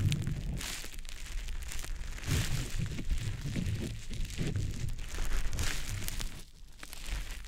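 A small, soft, damp green teardrop-shaped konjac sponge puff is held in the fingers and rubbed over the silicone ear of a dummy-head microphone. It makes continuous wet squishing, rubbing and crinkling sounds. The sound is dominated by low, muffled rumble, with brief airy high swishes and a short quieter dip near the end.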